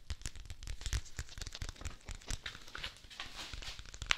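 A thin, light-blue paper folder is held in both hands beside a microphone and crinkled and crumpled by the fingertips. The result is a steady run of dry, crackling rustles with quick, tearing-like bursts over a low rumble. A sharp bright crackle comes near the end.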